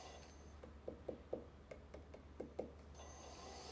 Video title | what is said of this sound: Swan City Ceramics 🦢 Episode 79 - Pottery Livestream | you can kind of hear the difference when you tap on the bottom to see how thick the piece is